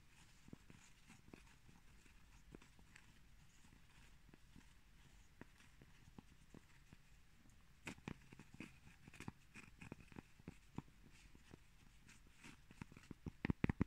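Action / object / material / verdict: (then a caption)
tap / cork plate / cork / none. Cork plates are tapped lightly, giving a steady run of soft, dull knocks with almost no ring over a quiet background. The taps grow busier and louder toward the end.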